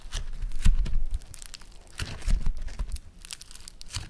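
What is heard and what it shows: Yellow foam-bead floam clay is kneaded, pulled and pressed with fingertips and thumbs. It gives dense bursts of bright, crinkly crackling and tearing pops over soft, low squishing thumps, in uneven waves that swell and fade across the clip.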